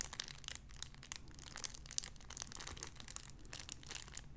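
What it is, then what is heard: Cellophane wrapper crinkling. A clear cellophane wrapper around a small sun-shaped figure is crinkled with fingertips. Dense, bright crackles and crinkles run continuously at a quiet level, with sharp clicks that stop instantly over a low, steady rumble.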